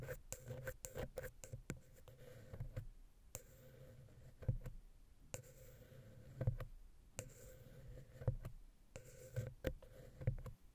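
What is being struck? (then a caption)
Metal mesh microphone grille. A wooden ear pick scratches and taps the centre of the small, hollow silver XY mic capsule's metal mesh grille on a Zoom H6 recorder. Close, boomy low thumps and sharp clicks punctuate a soft, scratchy rustle that comes in bursts with brief quieter pauses. A steady low hum sits underneath throughout.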